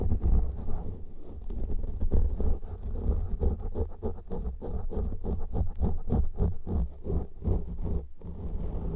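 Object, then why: Foam microphone windscreens. Fingertips and nails scratch and rub a pair of soft, porous black foam windscreens on studio microphones in a stereo setup, with both hands working both covers throughout. The result is a dense run of boomy, low rumbling scratches and muffled rubbing, with almost no bright or high content.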